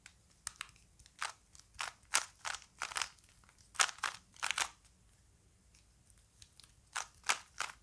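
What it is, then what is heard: Plastic Rubik's cube being twisted. A small plastic Rubik's cube is held in both hands while the fingers twist its layers, giving about sixteen bright, dry plastic clicks and short scraping turns. The sounds come in uneven bursts separated by quiet pauses, with no ring after each click.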